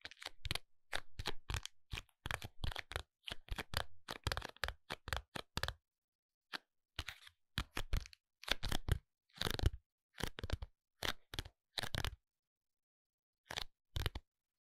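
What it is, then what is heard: Cardboard pencil package. A long, narrow printed paperboard package for a Cezanne eyebrow pencil, with the pencil inside, is held and tapped with fingertips and nails, partly while resting on a table. Quick, dry, crackly taps with a papery crunch come in dense bursts, separated by short silent pauses.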